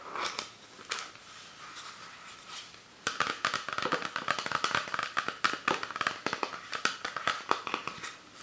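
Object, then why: Plastic PET soda bottle. Fingertips and nails tap rapidly on the ridged body and label of an empty, clear plastic Fanta PET soda bottle with its cap on, held over a book. A few soft, scattered taps and light crinkling come first, then after about three seconds a dense run of quick, sharp, bright clicks follows. A hollow plastic ring near 1.3 kHz persists throughout.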